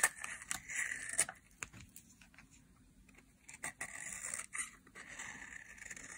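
A small, solid, dry yellow soap bar is held in the hand and shaved with a metal craft knife blade, with flakes falling onto a white surface. Bright, crisp cutting scrapes come in short bursts, with quieter scratchy stretches in between and almost no low end.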